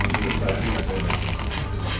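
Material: Pork skin.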